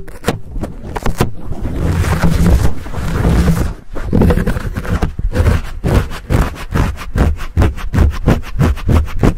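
Fingers squeeze and scratch the fuzzy black foam windscreen on a Blue Yeti microphone. The result is a deep, muffled rumble with scratchy crackling, breaking into quick runs of soft, dull scrapes and thumps that stop short with almost no ring.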